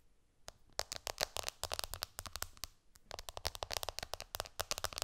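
Long painted nails tap fast with both hands on the glass screen of an iPhone lying flat on a cushion. The result is a rapid run of sharp, bright clicks with almost no ring. The tapping pauses briefly near the middle before picking up again.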